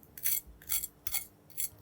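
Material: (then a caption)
Chicken skin. A knife is run over the skin of a chicken wing that was boiled before baking, to check how crispy it is. Four separate dry, crackling scrapes are heard, bright and high-pitched with almost no low end. The wing sounds very crispy.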